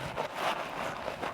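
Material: Nothing is struck.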